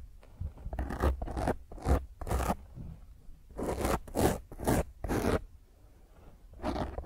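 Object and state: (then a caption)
Foam microphone windscreen scratched by nails. Long fingernails scratch hard across a black foam microphone windscreen, producing a series of rough, scraping bursts separated by brief pauses. Each burst carries a heavy low rumble together with a bright, hissy crackle.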